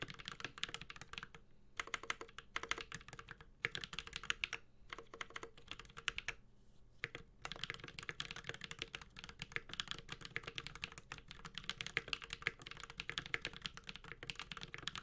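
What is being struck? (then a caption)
Mechanical keyboard with aluminium case and plastic keycaps. A Space65 Cybervoyager 65% mechanical keyboard with an aluminum case, plastic keycaps and Holy Panda switches is typed on with the fingertips of both hands. The result is continuous bursts of bright, short key clacks with little low end and almost no ring, broken by a few brief pauses.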